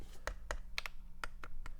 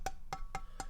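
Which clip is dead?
The first.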